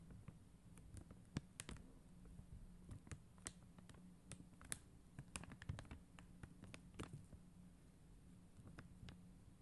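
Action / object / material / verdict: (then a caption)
tap / acrylic rhinestone sticker sheet tapped with acrylic nails / acrylic / none. Long mint-green acrylic nails tap and scratch a flat sheet of blue and clear faceted acrylic adhesive rhinestone stickers. Quiet, sharp clicks and light scratches come in an irregular series over a steady low hum, each tick short and bright with almost no ring.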